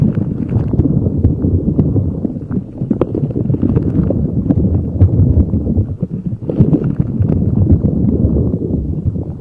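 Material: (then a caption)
Rubber. A neon green soft rubber spiky puffer ball held over a microphone is rubbed and squeezed with fingers. The result is a dense, steady, low, muffled rustling and scraping with quick soft crackles, briefly easing off twice before building back up.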